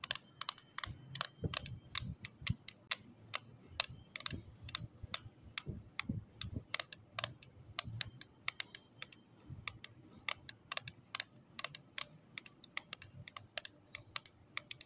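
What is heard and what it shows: Long acrylic nails tap on the lid of a small closed pink plastic case holding lip tints, resting on cloth. The result is a steady stream of sharp, bright clicks in quick, irregular bursts, each dying away almost instantly over faint soft thuds.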